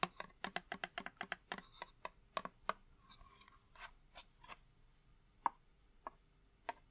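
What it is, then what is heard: Cardboard matchbox. A small, hollow purple cardboard box of candle matches, held upright, is tapped with fingertips and with a long wooden match, giving about twenty short, dry, hollow taps. The taps come in a quick run over the first three seconds, followed by a soft scratchy rustle, then a few sparse, sharper taps with almost no ring.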